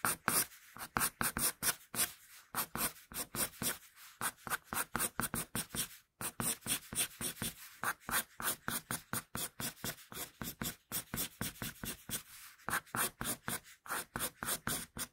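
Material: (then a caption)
Graphite, paper. A wooden pencil sketches on a flat sheet of paper, scratching out hair strokes in a fast, steady run of short, bright, dry scratches. The strokes come in quick bursts with brief pauses between them and leave almost no ring.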